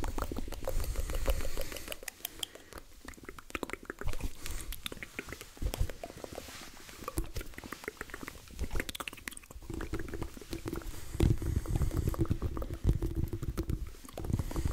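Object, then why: Soft rubber squishy ball. A hand-sized, soft, multicolored rubber squishy stress ball is held in both hands close to the microphone, squeezed and squished while fingertips tap and scratch its surface. The result is a dense run of soft, low, muffled squishes and quick crackly taps, with bursts of rubbery rubbing that swell and fade throughout.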